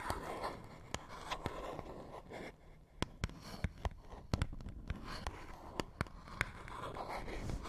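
Fingernails scratch and tap a small, hollow printed paperboard box held between the fingers. A soft, low rustling scrape runs throughout, broken by sharp, dry taps that die away almost at once.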